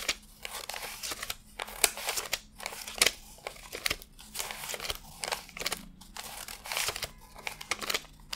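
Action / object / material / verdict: flick / paper banknotes / cotton paper / none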